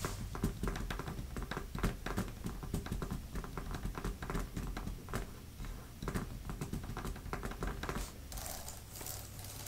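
Fingertips with long nails type on a grey, thin plastic laptop type-cover keyboard with plastic keys and a fabric palm rest. The result is a steady patter of quick, dull clicks with a heavy low end and short decay. Near the end the typing thins out and a soft, bright rustle comes through.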